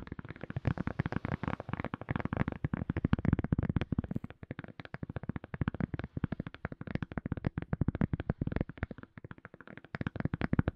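A silicone cup lid is tapped rapidly and continuously, giving a dense stream of soft, dull, low thuds that die away almost instantly. The taps swell and ease in loudness over the span, with little bright content.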